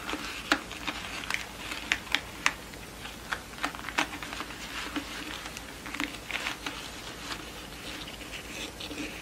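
Long nails tap the cardboard center disc and scratch the pleats of a yellow pleated satin award rosette with ribbon tails, lying on a wooden table. Sharp, dry, bright taps land at irregular intervals over a steady soft scratchy rustle. Each tap stops almost instantly with no ring.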